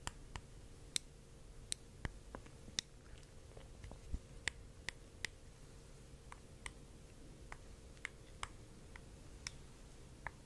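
A small round clear glass globe bowl, lit blue and apparently hollow with contents inside, is held in one hand and tapped 16 times with a thin reddish wooden stick. Each tap is a quiet, sharp, bright click that dies away almost instantly. The taps come at an irregular pace over a steady low background hum.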